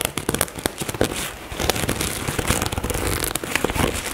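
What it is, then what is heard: Fabric cosmetic bag. Long nails scratch a black floral nylon toiletry bag, with fast scratching near the zipper. The result is dense, crackling, papery scraping with many sharp, bright ticks and short bursts over a soft rustling bed.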